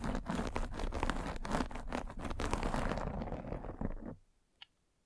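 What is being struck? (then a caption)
Fabric mesh net over a microphone head, rolled with a spiked roller. A metal-spiked derma roller is rolled over a white fabric mesh net covering a round microphone head, producing dense, close, low-heavy crunchy scratching for about four seconds. The scratching then stops abruptly, leaving near silence broken by one faint brief tick.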